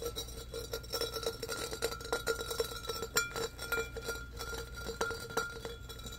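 Fingernails rapidly scratch the ribbed sides of a medium-sized, empty, hollow embossed glass pitcher held up in the air. The scratches make a quick run of bright clicks and rasps, each one drawing a short glassy ring with a steady tone near 1.4 kHz and a softer hum around 500 Hz.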